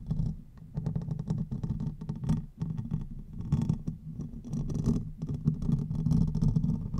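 Fingernails scratch the top and sides of the hollow metal mesh head of a silver condenser microphone. The result is a dense, continuous rasping and thumping texture, heavy and boomy in the low end with a muffled rumble and only faint bright grit.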